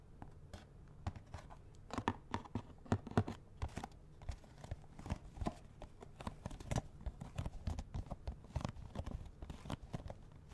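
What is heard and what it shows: A small, hollow cardboard box of latex gloves, with the gloves still inside, is held close and tapped with fingernails. It gives a quick, irregular run of dull, hollow taps with a low body and faint papery crinkle. Each tap dies away almost at once.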